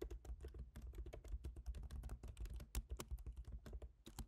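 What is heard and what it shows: Fingertips type on the plastic keys of a silver MacBook Pro's aluminium laptop keyboard. The result is a quiet, fast, uneven stream of short, soft keytaps with a dull low thump and a faint bright click on each, dying away almost instantly.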